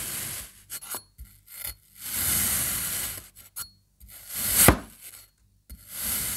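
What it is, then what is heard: Kinetic sand being sliced with a knife. A serrated knife makes repeated thin slices through a solid rainbow kinetic sand slab, cutting through its orange and yellow triangles. Short gritty scrapes alternate with longer, bright, hissing drags, and the loudest slice ends in a sharp crunch before the next cuts begin.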